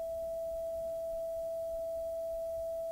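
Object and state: Nothing is struck.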